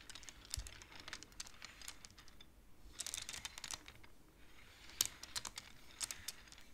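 Fingers rapidly push the beads of a wooden abacus so they clack together in a quick, uneven run of short, dry, bright clicks. The clacks come in clusters with brief pauses, and each one stops almost at once.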